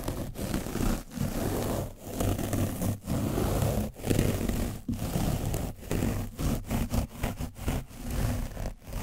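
A foam brush is gently rubbed over an orange foam microphone cover coated with dried paint. It makes a dense, low, muffled scraping and rustling in repeated strokes separated by brief quiet gaps. The strokes start slower and grow quicker toward the end.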